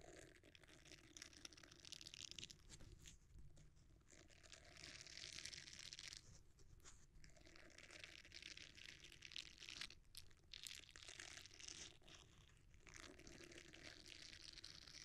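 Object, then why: Silicone bristle scrubber. A red silicone bristle scrubber is bent and squeezed with the fingers and thumbs. It gives a quiet, bright, crackling crunch like tearing or crinkling, continuous with brief pauses between squeezes.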